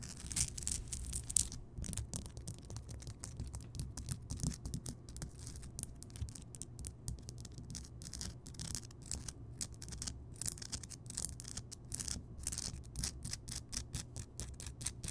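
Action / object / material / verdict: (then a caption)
scrape / rock salt lamp / rock salt / none. Long nails on both hands scratch the rough crystal surface of a large, solid, lit Himalayan rock salt lamp. The result is a steady run of quick, bright, gritty scratching strokes over a soft low rumble, with brief pauses between bursts.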